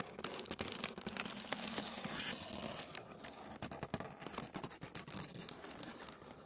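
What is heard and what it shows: A flat sheet of thin white tissue paper lying on a wooden table is scratched and tapped with fingertips and nails. The result is a quiet, dense run of dry, crinkly scratches with sharp, bright ticks scattered throughout.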